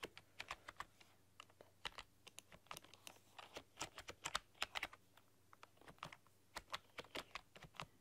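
Fingertips and long painted nails type rapidly across a full-size black plastic computer keyboard with rainbow LED backlighting. Quick, bright plastic clicks and taps come in uneven bursts with short pauses, each dying away almost instantly. A faint low hum runs steadily underneath.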